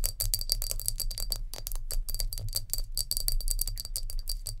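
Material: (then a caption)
Glass. Long nails tap rapidly on a glass jar with a lid, producing a quick, continuous run of bright, clinking glass taps with a high ringing tone. Each tap is short, over a steady low hum underneath.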